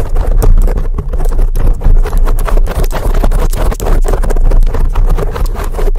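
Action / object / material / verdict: scrape / foam microphone windscreen / foam / none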